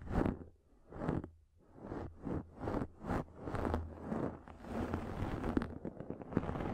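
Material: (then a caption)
Microfiber. Long nails scratch and tap a pink fluffy microfiber makeup remover pad, making a quiet, soft, rhythmic rasp. Separate swelling scratch strokes come first, then give way to denser, continuous scratching dotted with small taps over a faint low hum.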